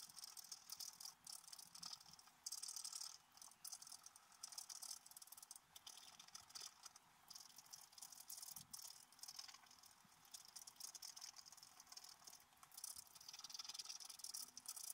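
A wooden stylus scratches around a squirrel motif on a black-coated scratch-art paper card lying flat. The sound is a continuous, dry, high-pitched scratching and rasping with quick strokes that swell and fade, and there is almost no low end.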